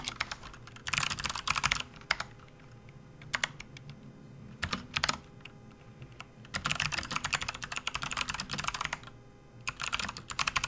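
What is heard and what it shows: Fingertips of both hands type on a full-size plastic RGB backlit computer keyboard resting on a desk mat. Bursts of quick, bright clicking keystrokes alternate with short pauses and a few isolated taps over a low, steady hum.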